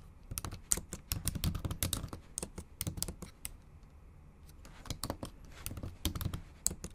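Long acrylic nails type and tap on a bare, backlit MacBook Pro keyboard with plastic low-profile keys set in an aluminum body. Rapid, sharp clicks with bright tips and a soft low thud come in two busy flurries, separated by a quieter stretch in the middle of the clip.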